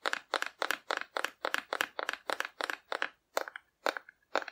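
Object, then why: Painted cardboard figure tapped with fingernails. A hollow painted cardboard dinosaur held in the hand is tapped with long nails, giving quick, dry, crisp clicks in short bursts. The taps have a hollow papery crunch centred around 1.7 kHz with some bright edge, almost no low end, and no ring, with brief pauses between clusters toward the end.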